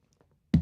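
A hand taps a table to show that the table really exists. A few faint soft ticks come first, then one firm, low, dull thud that dies away quickly.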